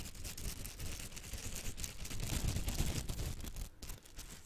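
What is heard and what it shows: A small yellow silicone pastry brush with soft bristles is held close to the microphone while long nails and fingertips flick and scratch its bristles. This makes a steady, dense crackle of quick, irregular scratches and flicks over a heavy low rumble, with a thin bright rustle on top. It eases off slightly near the end.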